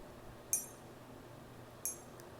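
A 1 oz silver bullion bar is flicked twice for a ping test. Each flick gives a faint, high-pitched metallic ping that fades quickly against a quiet background.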